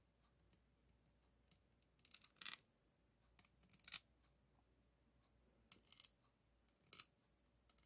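A single white plastic spoon held in the fingers taps and scratches across the hollow, rounded woven steel-wire mesh head of a microphone with a chrome ring below. Quiet, bright, crisp clicks and short scratchy rasps come at irregular intervals, each dying away almost at once, over a faint steady low hum.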